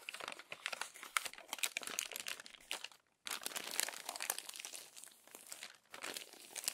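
Crumpled pages of an open glossy paper magazine are smoothed flat with the palm and turned by the fingertips. Dense, bright crinkling and rustling runs throughout, broken by one brief silence near the middle.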